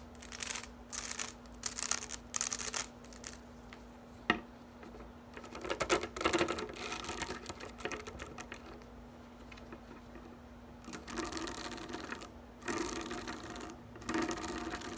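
Long nails strum and scratch the dense, flexible blades of a green plastic grass drying rack, making bursts of bright, crackly rustling and quick flicking. The scratching comes in short runs with brief pauses, goes quieter in the middle, then returns in louder bursts. A faint steady low hum runs underneath.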